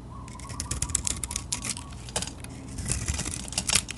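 A small metal blade scrapes and shaves curls off an oval Lux soap bar with a silver-glitter coating and pink inside, held in the palm. Quick, crisp, bright scratching strokes come in close bursts over a soft low rumble, with a short pause in the middle before the carving picks up again.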